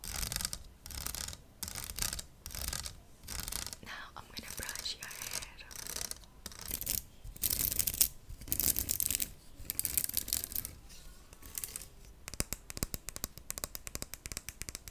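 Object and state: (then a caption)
Plastic hairbrush bristles. Fingertips and nails are run across the plastic bristles of a hand-sized, purple plastic vented paddle hairbrush with a hollow open frame, held up in the hand. Repeated bursts of bright, bristly scratching and rubbing come with short pauses between strokes. Near the end they give way to a quicker run of sharp, dry ticks as the bristles are flicked.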